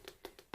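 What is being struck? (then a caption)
Book-style eyeshadow palette packaging, cardboard. Four light taps on the old-book-style packaging of a Little Briar Rose eyeshadow palette. Each tap gives a short, hollow knock with a mid-pitched tone around 380 Hz. The taps die away almost at once, with the last one the loudest.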